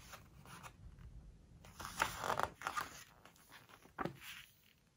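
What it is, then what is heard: Glossy paper book pages. Fingers grip, lift and turn a page of a large open hardcover book with glossy paper pages, and fingertips rub the paper. Quiet rubbing builds into crisp, crackling rustles of the stiff page flexing, loudest midway, followed by a sharp snap-like flick and soft brushing that fades out.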